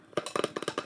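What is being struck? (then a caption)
Thin craft wood board with burned design. A series of quick, dry taps on a small craft-wood paddleboard decorated with pyrography (wood-burned) mushrooms. Each tap gives a short, hollow wood-block tone around 430 Hz that dies away almost at once.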